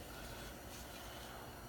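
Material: Nothing is struck.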